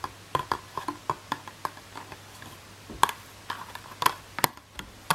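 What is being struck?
Thin plastic packaging tube.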